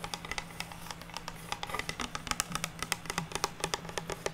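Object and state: Pine wood board.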